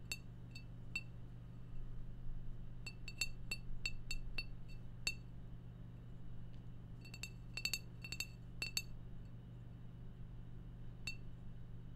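A glass beer bottle is tapped repeatedly, giving short, bright clinks with a ringing tone. The taps come in irregular bursts over a steady low hum.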